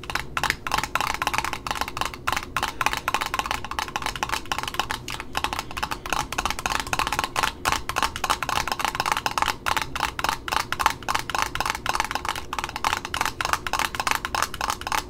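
Long nails tap quickly and steadily on a red satin ribbon spool held between the hands, striking both its cardboard top disc and the satin rim. The taps are short, dry clicks with a hollow, woody tone centered around 900 Hz and a bright edge. Each one dies away almost instantly, leaving a continuous patter with little low end.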